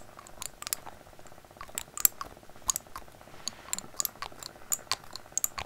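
Fingernails tap and scratch on the cap and glass of a small labeled glass dropper bottle held upright in front of the microphone. The result is a quiet, uneven string of sharp, bright clicks and light scratchy rasps that stop instantly with no ring, over a faint steady background.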